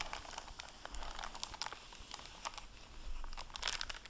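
The plastic-covered dust jacket flap of a dark blue hardcover library book, lying open, is wiped with a microfiber cloth by the fingers. Quiet, continuous rubbing is broken by many brief, bright crinkles of the plastic, with a sharper burst of crinkling near the end.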